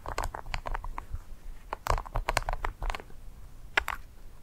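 Black plastic claw tips on garden gloves tap and scratch a single small solid dry ice pellet (frozen CO2) resting on dark fur. The result is a quick, irregular run of short, dry clicks and crinkly scratches with bright edges over a soft low rumble, each tick dying away almost instantly.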